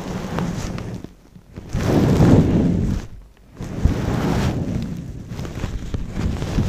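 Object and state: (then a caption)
Faux fur microphone cover. A long-pile brown faux fur windscreen over a microphone is rubbed and squeezed with fingers and long nails. It makes deep, muffled rumbling swells of soft scratchy friction, broken by brief near-silent pauses. The sound is mostly low, wind-like and dull.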